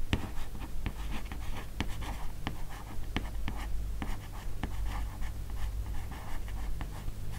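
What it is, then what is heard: Matte cardboard hardcover comic book. Long nails scratch and tap along the left edge of the matte cardboard cover of a large hardcover comic album, "Les carnets de Cerise," lying flat. Soft, dry scratching runs throughout, broken by sharp, short clicks of the nails against the cardboard over a steady low hum.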